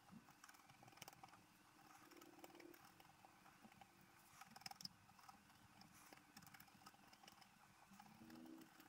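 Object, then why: Black-coated scratch-art paper scratched with a wooden stylus. A wooden stylus held in the fingertips scratches the coating of a flat, black-coated scratch-art paper sheet, about A4 size, lying on a table while the other hand rests on the sheet. Quiet, dry, papery scraping runs throughout in short strokes with bright edges. A faint steady low hum sits underneath.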